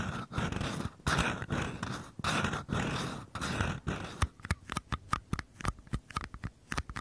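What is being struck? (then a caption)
Small paper cup. Fingertips and short nails scratch and tap the bottom and walls of two identical small, empty, hollow paper cups held sideways. Several seconds of dense, raspy scratching come in bursts, then give way to quick, dry, hollow taps with a papery click and no ring.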